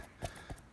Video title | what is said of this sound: The stuff I shot | when you hit it with force, it's solid